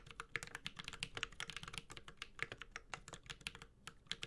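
A Space65 Cybervoyager 65% mechanical keyboard with a white-gold aluminum case, plastic keycaps, a carbon fiber plate and tactile Holy Panda switches is typed on steadily with the fingertips of both hands. A quick, uneven stream of crisp, bright clacks is heard, each keystroke dying away almost instantly over a faint, soft low thud.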